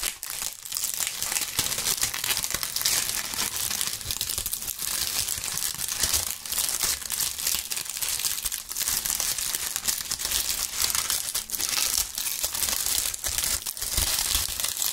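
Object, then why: Dry leaves crumpled by hand. Bunches of dry brown maple-type autumn leaves, held in both gloved hands near the microphones, are crumpled and crushed by the fingers. A dense, continuous crackle and crunch runs through the whole clip, bright and papery with almost no low end, with brief dips between handfuls.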